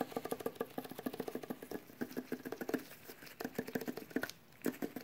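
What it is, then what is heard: Metal tin can tapped by fingertips. Latex-gloved fingertips tap rapidly on the metal lid of a small, sealed, full metal food can. A quick patter of dull, short metallic taps follows, each with a faint mid-low tone that dies away almost at once.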